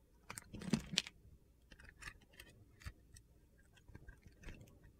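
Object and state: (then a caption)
Bar soap being sliced. A utility knife blade slices scored cubes off a solid rainbow bar soap with its white interior exposed. Dry, gritty, crunchy scraping strokes repeat at an uneven pace. Sharp bursts stand out near the start, followed by softer cuts.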